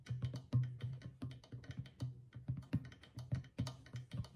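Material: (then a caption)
Clay, goatskin. A small hollow clay drum with a stretched goatskin head, held at the side, is tapped on the skin near the far rim with long fingernails. A quick, uneven run of light taps each gives a low, dull thump around 117 Hz with a faint bright click on top, dying away almost at once.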